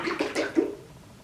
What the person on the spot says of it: very similar but this is a little deeper